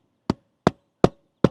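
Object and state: Hollow roof decking between rafters.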